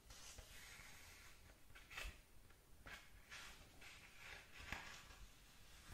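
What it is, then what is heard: Paper book pages being scratched. Long nails scratch the printed paper pages of an open paperback manga book. Quiet bursts of bright, dry scratching rise and fall in a series of strokes over a low, steady background rumble.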